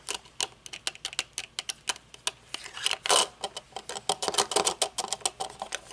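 Long painted nails tap rapidly on the dark tinted lenses and metal frame of folded aviator sunglasses resting on a wooden table. Around thirty quick, bright clicks come in an uneven rhythm, each dying away almost instantly, with no low-end weight. A denser, louder flurry of tapping arrives just after the three-second mark.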